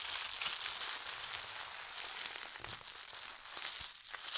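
Hands fold over the edge of a thin holly-print tissue paper sheet and smooth it flat with fingertips and long nails. The paper gives a steady, bright, airy crinkling with soft rustles and brief crackles throughout, and almost nothing low.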